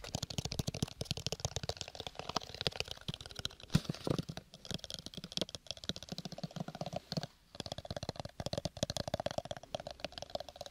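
Fingertips and nails tap fast on the sides of a small, square, hollow cardboard gift box covered in purple textured paper. The result is a dense run of quick, dry taps with a hollow low thump under a crisp, bright click, each dying away almost at once. The tapping pauses briefly a few times before carrying on.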